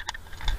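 A metal airsoft magazine with BBs inside is shaken, giving three quick, bright metallic clicks and rattles over a low background rumble. The loose BBs resonating in the metal body make a noisy, high-pitched clatter of the kind heard while running.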